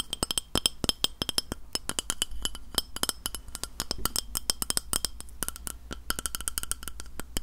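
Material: Glass.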